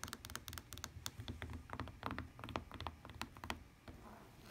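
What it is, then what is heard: Fabric-covered tablet case. Long painted nails rapidly tap and scratch a lavender tablet case with a woven fabric cover and plastic edge, lying on a table. The sound is a quick run of short, dry clicks with bright ticks over a soft, low thud. It eases near the end into quieter, fuzzy scratching.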